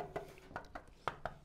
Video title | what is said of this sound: Fitting a Black Widow Exhaust on a Brand New Yamaha R7 Motorbike | give it a tap see if it rattles it's a good test